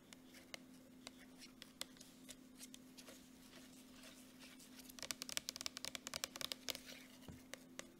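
Long nails tap and scratch quickly across the front of a gold Jergens plastic lotion tube held in one hand. The short, bright clicks come at an irregular pace over a quiet scratchy bed and a faint steady low hum. The tapping grows denser and louder in the second half.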